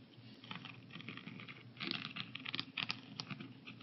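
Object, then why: Plastic pill organizer lids. A translucent blue plastic 14-compartment AM/PM weekly pill organizer, hollow with pills inside and lying on a wooden table, is tapped on its lids with the fingertips and nails of both hands. Quick, dry, bright clicks and patters come in irregular bursts with a faint low hum beneath, growing busier and louder in the second half.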